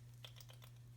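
A steel hydraulic roller lifter with a stuck internal plunger, which would not free up after brake cleaner sprays and diesel wash cycles and needs disassembly to clean, is shaken. Four faint, light metallic ticks come only from the small roller bearings in the wheel, while the internal mechanism makes no rattle. A steady low hum runs underneath.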